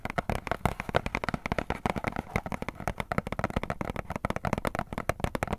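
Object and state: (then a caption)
Cardboard box tapped and scratched. A small, hollow printed cardboard box held in both hands is tapped and scratched on its panels with fingertips and nails. A fast, steady run of short, dry taps follows, each dying out almost at once, with scratchy rustling between them.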